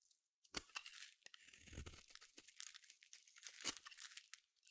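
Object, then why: Solid bar soap. A small metal blade shaves long flakes and curls off the end of a palm-sized solid blue bar of soap. Dry, bright scraping and crisp tearing rasps come in uneven strokes, with a few sharper crunchy cuts and soft crumbly rustling in between.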